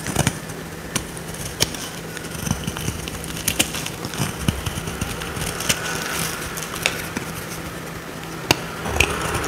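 A small metal blade carves a solid, dry oval purple soap bar held in the hand into dry shavings. Crisp, bright scraping and crackling run throughout, punctuated by sharp clicks as the shavings break away, over a faint steady low hum.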